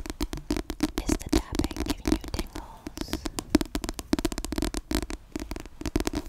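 Long yellow-painted nails scratch and tap quickly across the back cover of a dark, glossy-covered paperback book of solid paper held in both hands. The result is a dense run of short, dry clicks and scrapes with a low, hollow body and faint bright edges, each dying away almost at once.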